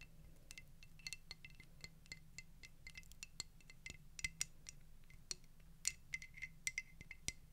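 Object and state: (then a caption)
Conch shell, tapped. A conch shell is tapped in a quick, irregular series of light, bright clicks with sharp high-pitched clinks. The taps are short and dry and stand out against a faint low hum.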